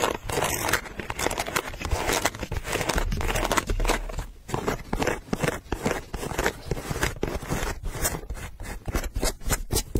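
A single pink low-top leather sneaker with a gum rubber sole and a price tag attached is held up in one hand while long pink nails scratch its perforated leather upper and toe. Dense, rapid dry scratching and scraping runs throughout, with brief crisp clicks and a low rumble underneath.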